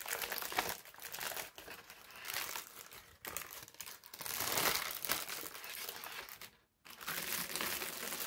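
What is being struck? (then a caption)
Thin parchment paper sheet. A wrinkled sheet of thin brown parchment paper is stretched and then smoothed flat on a table with the palms. It gives a steady, bright crinkling and rubbing with little low end, broken by short pauses and one near-silent gap just before the end.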